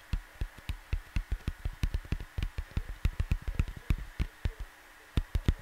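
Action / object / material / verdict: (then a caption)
tap / cardboard LP record sleeve / cardboard / none. Fingertips tap and scratch near the top of a cardboard vinyl LP jacket lying on a desk. A quick, uneven series of short, dull, low thuds with little ring, each carrying a faint papery tick. A steady soft hum sits underneath.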